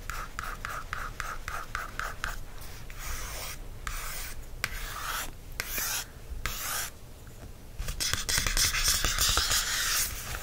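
A wooden stick traces lines across a printed date-due cardstock notebook cover in quick, repeated scratchy strokes. Fingertips then rub the cover in longer, brighter hissing sweeps, with a steady low hum underneath throughout.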